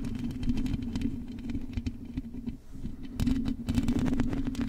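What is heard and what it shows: Long acrylic nails scratch and tap on the hollow metal mesh grille of a silver microphone. A steady low, humming tone runs underneath bursts of sharp, bright clicks and scratchy rustles. The activity eases briefly in the middle, then returns denser and louder toward the end.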